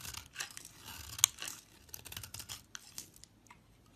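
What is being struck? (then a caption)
Bar of soap scraped with a metal blade. A hand-sized, solid brown translucent bar of soap, held between fingers with long white nails, is scraped and shaved with a metal utility knife blade, curling off brown shavings. Quiet, bright, dry scraping and crisp shaving strokes come in short bursts, with one sharp click partway through.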